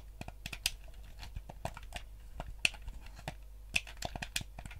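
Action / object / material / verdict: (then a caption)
tap / hollow plastic gamepad / plastic / none. Thumbs and fingertips press the buttons and tap the shell of a yellow hollow plastic gamepad. The result is a quiet, irregular run of short, dry clicks and taps with a bright, crisp edge. A low hum sits underneath.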